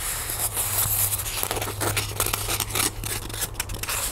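Long nails scratch and rub along the surface of a small, solid white styrofoam block held in both hands. The result is a dense run of dry, bright, scraping and squeaking strokes with an airy high hiss, over a steady low hum.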